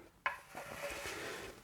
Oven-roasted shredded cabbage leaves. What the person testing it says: you can hear straight away how crispy that is